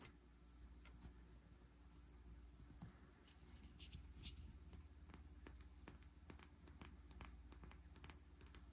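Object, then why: Amber glass bottle. Fingernails tap and scratch the side of a medium amber glass bottle with a green cap and sticky label residue, held in hand. Quiet, short, bright clicks and faint scratches come at an uneven pace over a steady low hum. They grow sharper and more frequent toward the end, with no ringing after each tap.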